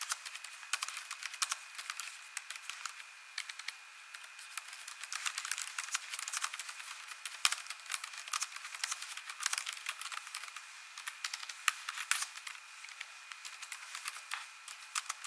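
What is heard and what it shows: A hand with long nails and rings types on an ASUS laptop keyboard with plastic keys. The result is a long, quiet stream of rapid, bright, crisp taps that die away instantly, with almost no low end and a faint steady tone underneath.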